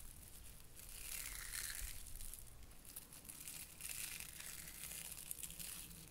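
A small cluster of orange soft-plastic Bunchems burr balls is held in both hands over a white plastic sorting tray, and the hooked pieces are squeezed, pulled apart and pressed back together with the fingertips. This makes a steady, crunchy, velcro-like crackle with bright, hissy detail over a faint low rumble, swelling in two soft waves.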